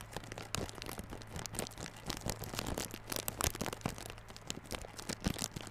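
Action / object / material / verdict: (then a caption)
scrape / cardboard box in plastic film / plastic film / none. Fingertips and nails scratch and tap the clear plastic wrap on a small yellow cardboard Realme Buds Classic earphone box. The result is a dense run of crinkly, crackling scratches and sharp little taps, with a steady low hum underneath.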